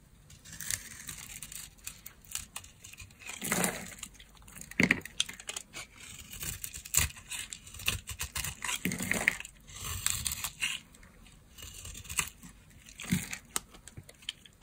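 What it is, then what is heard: Dry soap bar being carved. A small blade carves and scrapes a solid yellow bar of dry soap, already scored, over a pile of shavings. Dense bursts of crisp, bright scraping and crunching rise and fall in quick strokes, with a few louder cuts standing out.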